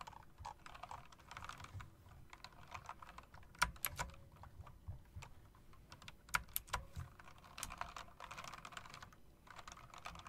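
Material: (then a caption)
Plastic. Fingertips with long dark nails tap across a backlit typewriter-style mechanical keyboard with round plastic keycaps and metal rims. Quiet, irregular clicking and clacking runs throughout, with a few sharper, louder key strikes standing out; each click is short and dry, with almost no ring.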